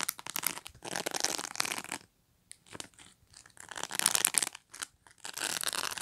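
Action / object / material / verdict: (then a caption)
scrape / plastic pet brush bristles / plastic / none. Long nails scratch and flick along the rows of thin plastic pins on a black pet brush. Dense, bright, crackly scraping comes in bursts, with a near-silent pause around two seconds before the brisk flicking resumes with little low end.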